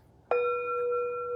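An empty metal Tibetan singing bowl is struck once, giving a soft attack followed by a long, steady ring centered near 484 Hz with clear overtones above it. The tone sustains without fading much until the clip ends, showing that the empty bowl rings clearly.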